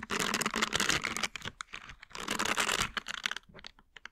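A green silicone scrubber with nub bristles is bent while its bristles are scratched and flicked with the fingers. It makes two long, dense bursts of bright, crackly scratching, then a run of sparse, sharp little flicks that die away quickly toward the end.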